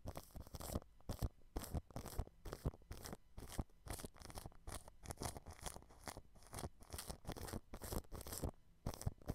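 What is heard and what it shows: A thin, fine-tipped paintbrush scratches and brushes clear cling film stretched over the mesh grille of a white dome microphone. Rapid, repeated crinkly scratching strokes come in dense bursts, each with a bright crackle and a heavy low thump from contact with the mic.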